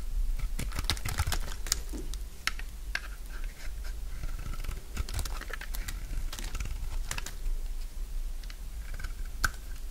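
A solid bar of dry pink soap, held in the hand, is scraped and shaved with a utility knife blade. Short, dry, crunchy cutting strokes and scrapes sound in quick, irregular succession, bright and crisp over a low steady background hum.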